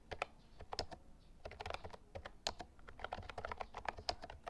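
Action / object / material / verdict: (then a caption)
tap / plastic mechanical keyboard / plastic / none. Fingertips type rapidly on the round keycaps of an Actto Retro Pop Mini Bluetooth keyboard, a white and lilac plastic mechanical retro keyboard, while the tablet stays silent. The typing makes a quick run of sharp, dry clicks centred around 700 Hz with bright edges, each dying away almost instantly, with a few louder key strikes standing out.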